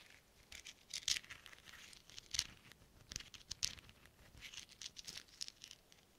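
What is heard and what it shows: Small hollow silver metal thimbles worn on black-gloved fingertips are pattered and tapped against each other. The result is quiet, irregular bursts of bright, high clicks and light metallic chatter that die away almost instantly, with a few sharper taps standing out.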